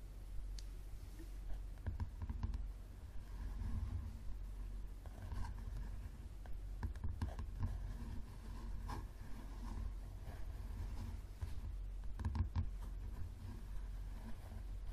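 Fingernails of both hands tap and scratch the top cover of a solid yellow paperback book with a card cover, lying flat. Soft, quiet clicks and dry scratching strokes run continuously over a dull low rumble, with brief taps that fade almost instantly.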